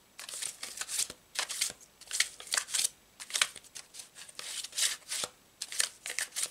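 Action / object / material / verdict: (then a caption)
flick / deck of thin paper cards / paper / none. A deck of thin paper tarot cards with a blue checked back is shuffled by hand, fingertips flicking and squaring the stack. Quick, bright, papery swishes and crisp flicks come in a steady run of short bursts with brief pauses between them. The sound is light, with almost no low end.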